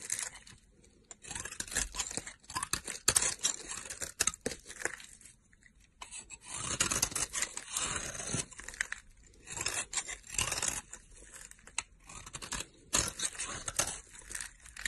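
A solid pink rectangular soap bar held in the hand is scraped with a utility knife blade, shaving off powdery flakes. Bursts of bright, dry scraping and crisp crunching come in uneven runs with brief pauses between strokes.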